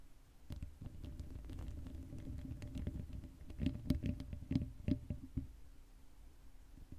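Long acrylic nails scratch the sides of the hollow black metal mesh grille on a Blue Yeti microphone, with no cover on it. The result is a dense, low, rumbling scrape full of quick ticks and taps, with a faint steady hum underneath. Sharper, brighter clicks stand out near the middle before it settles back to a soft scratching.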